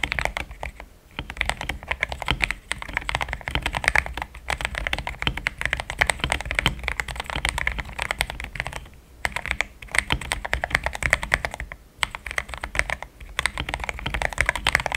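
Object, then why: Mechanical keyboard with thick plastic keycaps. Fingertips type fast on a solid, compact pink-cased mechanical keyboard fitted with thick cream XDA plastic keycaps. The result is a dense, steady stream of short, crisp clacks centered around 2 kHz with a bright edge, broken by brief pauses near 1, 9 and 12 seconds.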